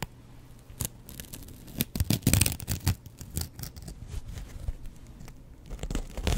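A double-edge razor blade scratches across the green abrasive scouring side and the yellow foam of a kitchen sponge. Dry, rasping, tearing scrapes come in short uneven bursts, loudest and densest in the middle and again at the end, with quieter soft scratching between.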